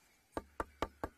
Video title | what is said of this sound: safariLIVE - Sunrise Safari - March 18, 2018 | it's a bit more solid this side, but completely eaten